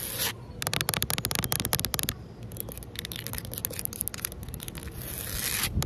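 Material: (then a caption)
Concrete. Long fingernails on both hands scratch and rub the rough surface of flat, solid outdoor concrete pavement. A quick run of sharp, bright scratching strokes gives way to a steadier gritty rubbing hiss, which swells again near the end.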